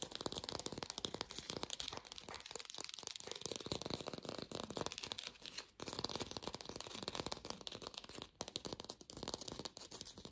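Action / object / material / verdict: tap / artificial lemon, plastic or foam / plastic / none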